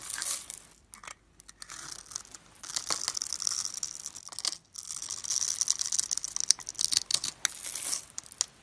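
A metal blade scores a grid into a rectangular solid white bar of soap held in the hand and carves off small cubes. It makes crisp, bright scraping and crumbly crackling sounds in bursts separated by brief pauses, with almost no low end.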